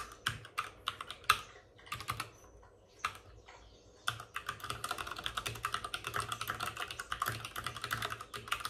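Both hands tap with short-nailed fingertips on the plastic keycaps of a white full-size mechanical keyboard with RGB backlighting, which rests on a desk with a padded wrist rest. Sparse, sharp clicks separated by quiet pauses fill the first four seconds, then give way to fast, steady typing. The keystrokes are short, dry and bright, with a clacky tone centred around 1.3 kHz.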